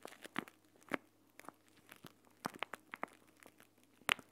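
A plastic gel bead eye mask, a clear plastic pouch filled with green gel beads, is held, folded, squeezed and rubbed by hands with dark-painted nails above the recorder. Nine quiet, sharp, bright crinkling crackles and clicks stand out over faint rustling, with the last being the loudest. Each one stops almost at once, with no ring.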